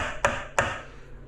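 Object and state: Drummy (hollow) ceramic tile.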